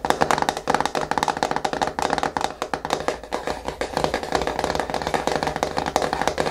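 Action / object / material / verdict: tap / plastic jar with screw lid / plastic / none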